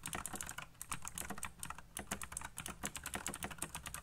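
Fingertips type fast on a colorful backlit mechanical keyboard with black plastic keycaps. A dense, steady stream of sharp, bright clicks with a low thock underneath, each keystroke dying away almost instantly.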